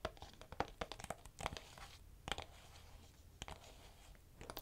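Long nails tap and scratch the back cover of a hollow, hard plastic DVD-style Silent Hill PlayStation 2 game case held close to the mic. Quiet, irregular, sharp clicky taps with crisp, brief crinkly scrapes between them ring only briefly, with a hollow plastic tone around 800 Hz.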